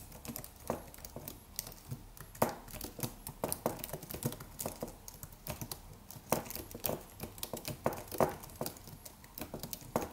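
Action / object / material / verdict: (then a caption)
tap / slim keyboard with aluminium body and plastic keys / plastic / none. Fingertips of both hands type rapid taps on a slim white Apple-style wireless keyboard with an aluminium body and white plastic keys. The sound is a quiet, steady stream of short, crisp clicks and soft clacks, with a few louder keystrokes standing out. Each tap dies away almost instantly.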